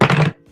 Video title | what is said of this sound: Marshall Caifano and the Chicago Outfit - Mob Vlog | that's got some weight to it